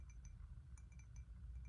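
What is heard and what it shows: A glazed ceramic cup, matching a bowl with the same pattern and used as a primary cup at home, is tapped repeatedly. Quiet, bright clinks ring briefly over a low background rumble, giving a tone different from the bowl's.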